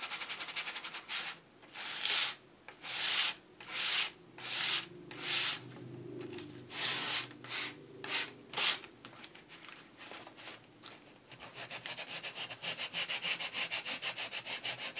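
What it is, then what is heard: Cardboard board book page being sanded. A handheld sandpaper block is rubbed back and forth across a printed, laminated cardboard board book page, producing bright, hissy scraping strokes that swell and fade unevenly. Toward the end the strokes turn into a quicker, finer, steady scratching before the block is lifted away.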